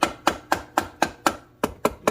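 Nine short, dull taps from a dead blow hammer strike the primary cover of a Honda 420/500/520 engine, each a brief midrange knock that dies away almost at once. The taps break the gasket-maker seal, and the cover has already come loose and is about ready to come off.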